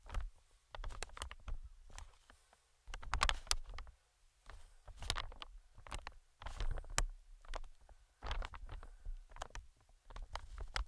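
Metal tweezers tap and scratch the film of an inflated, medium green plastic-film air cushion. Quiet bursts of quick taps and scratchy rustles carry a soft, hollow low thump under crisp, bright clicks, with brief pauses between clusters.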